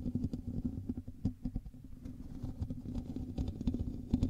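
Both hands scratch the hollow metal mesh grille of a black USB microphone with fingertips and nails. The result is a dense, close-up stream of rough, crackly scratching and tapping with a heavy low, booming body and little brightness.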